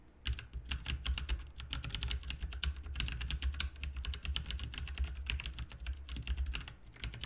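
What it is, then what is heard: Mechanical keyboard typing. Both hands type with their fingertips on a backlit RGB mechanical keyboard with plastic keycaps, making a fast, steady stream of sharp, bright clicks and clacks. A low, constant hum runs underneath the keystrokes the whole time.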